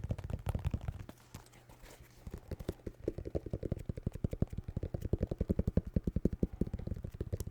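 Fingertips tap rapidly on a pair of white New Balance 608 sneakers made of synthetic leather with rubber soles. The sound is a stream of dozens of dull, dry, low-pitched taps with almost no ring. After a brief quieter lull early on, the tapping picks up into a denser, steadier run.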